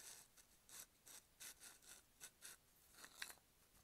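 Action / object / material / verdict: scrape / plastic bottle with paper label / plastic / none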